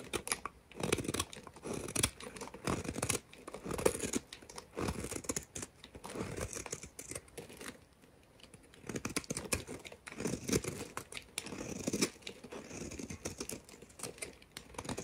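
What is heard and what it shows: A hand-sized, solid two-tone blue and cream bar of soap, held in the fingers with long red nails, has its edge shaved and scraped with a metal utility knife blade, peeling off curls. Dense, rapid scraping and crisp shaving strokes run in bursts throughout, with a brief quieter pause around the eighth second.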